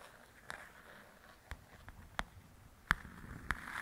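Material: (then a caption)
Paper. Long pointed acrylic nails tap and scratch across the paper cover of a large, flat paperback coloring book, Belles and Blossoms, lying on a table. Quiet, irregular crisp taps stand out from a soft, continuous scratching hiss, each tap dying away almost instantly.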